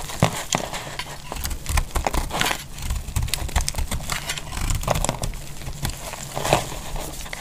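A utility-knife blade cuts and scrapes the sides of a solid, bright pink bar of dry soap held in the hand. Crisp, crackling scrapes and short dry clicks follow one another steadily, with bright, brief bursts over a soft low rumble.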